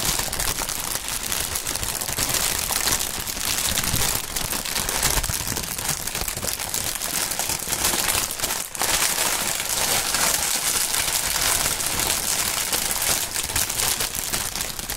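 An inflated strip of clear polyethylene air-pillow packaging is rubbed, crinkled and draped by gloved hands. Dense, bright crinkling and crackling runs steadily throughout, dipping briefly just before the ninth second.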